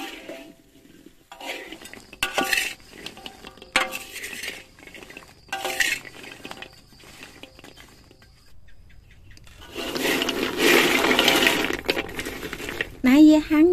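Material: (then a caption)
Dried fruit. Longan fruits baked slowly over a charcoal stove for three days and nights are shaken, giving bursts of dry clicking and rattling as the shrunken fruit knock together. A louder, denser rattle follows near the end, and a brief tonal sweep closes the clip. When a fruit is opened, the flesh is dry, though the seed may not be fully dried.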